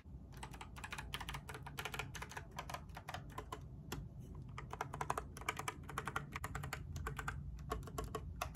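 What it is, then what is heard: Mechanical keyboard with plastic keycaps. Long fingernails rapidly tap and scratch across the blue, white and grey plastic keycaps of a compact mechanical keyboard in a grey case, held up in one hand. Quick, dry clicks with a bright, sharp edge come in dense bursts over a steady low rumble, each click dying away almost instantly.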